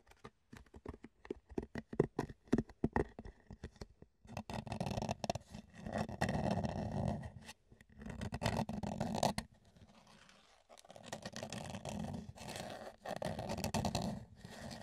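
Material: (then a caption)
Plastic. Fingertips tap and scratch the top and sides of an empty, hollow, rectangular clear plastic food container. A run of quick, dry, hollow taps comes first, then gives way to longer stretches of steady scratching and rubbing, with brief pauses between them.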